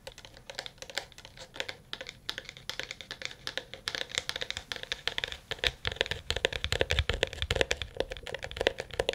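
A smartphone in a dark blue plastic case, held in both hands and solid, is tapped rapidly with fingernails and fingertips. The first part is quieter, with crisp, bright clicks over a faint hollow tone around 500 Hz. The second half grows louder and denser, adding duller, lower thumps to the short, dry taps.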